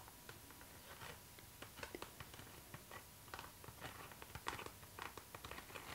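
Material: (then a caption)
PVC plastic. Long nails tap and scratch along a clear pink PVC zipper pouch, a transparent, flexible, hollow vinyl bag held upright in the hands. About twenty quiet, crisp plastic ticks and short scrapes come in an irregular patter, each dying away almost at once over a soft hiss.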